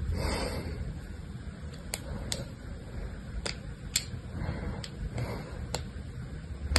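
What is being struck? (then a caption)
Bar of soap scored with a small blade. A small blue-handled blade scratches and carves shallow grid lines into the surface of a solid, hand-sized rectangular bar of pink soap with white streaks, held in one hand. Soft scraping hiss runs under a low background rumble, broken by about eight sharp, bright clicks as the blade catches and cuts.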